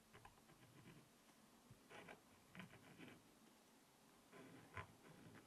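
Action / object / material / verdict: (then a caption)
scrape / coated scratch-art paper and wooden stylus / coated paper / none. A pointed wooden stylus held in the hand scratches letters into the coating of a small, spiral-bound black scratch-art notepad, coated paper over a rainbow layer, lying flat. Quiet, dry scratching strokes come in short bursts of bright, papery scraping over a soft low rumble, with several slightly louder scrapes standing out. Each stroke stops almost at once with no ring.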